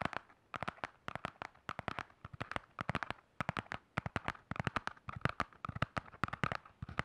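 A black hardcover spiral notebook is held in both hands while fingernails tap and scratch fast across its hard cover. Rapid, dry, clicky taps come in quick uneven bursts with faint scratchy texture between them, and each tap stops instantly with no ring.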